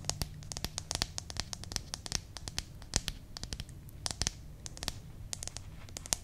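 Long manicured nails scratch and rub the glossy paper cover and pages of a small, closed paperback "Potato Recipe Book" held in both hands. Dozens of quick, bright, crackly scratches and taps sound over a faint low hum, each dying away almost instantly.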